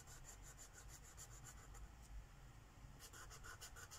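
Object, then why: Felt-tip marker on a paper page. A green Sharpie marker's felt tip scribbles in short back-and-forth strokes across a flat paper page of a mandala coloring book lying on a wooden table. Quiet, dry scratchy rubbing comes in quick bright pulses over a steady low hum, easing off briefly in the middle before the strokes resume more strongly.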